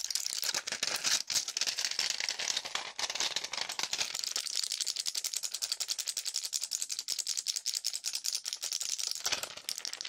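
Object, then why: Plastic and foil pill blister pack with pills. A small, flat, handheld pill blister pack, with clear plastic blisters on a foil backing filled with white pills, is tapped and scratched rapidly with fingertips and nails. This produces a dense stream of bright, crisp clicks and crinkly scratches as the pills rattle inside, with almost no low end. Each click dies away quickly, and the sound eases off briefly near the end.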